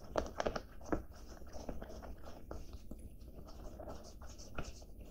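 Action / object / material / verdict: scrape / cotton denim jacket / denim / none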